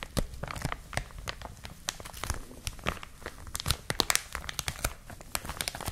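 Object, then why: Plastic film bag. Hands with long nails squeeze and crinkle a clear plastic film packaging bag wrapped around a white and blue product. The result is a steady stream of sharp, dry crackles and crinkling snaps, with bright, crisp peaks over a soft low rustle and no lingering ring.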